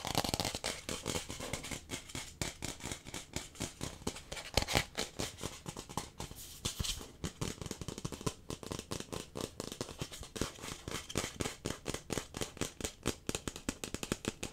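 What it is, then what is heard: Plastic cup, hollow and empty. A hollow, empty pink plastic cup held in one hand close to the mic is tapped rapidly with fingertips and nails. The result is a dense stream of short, dry clicks and taps that die away almost instantly, with a few louder knocks standing out.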